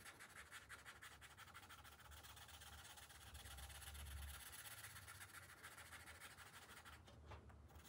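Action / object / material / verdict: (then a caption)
scrape / paper page rubbed by a felt-tip marker / paper / none. A green felt-tip marker rubs back and forth across the thin paper page of an open coloring book resting on a glass table while coloring in stripes. The result is a steady stream of quick, scratchy strokes with a bright papery hiss over a faint low hum.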